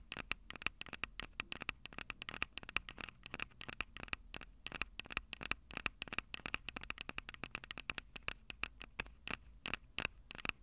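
Long purple nails scratch and tap the two small metal-mesh condenser capsules on top of a black plastic Tascam DR-05 handheld recorder, the same recorder capturing the sound. The result is a rapid, irregular stream of sharp, dry clicks and scratchy crackles with almost no ring, bright and concentrated high with a recurring tone near 2.6 kHz.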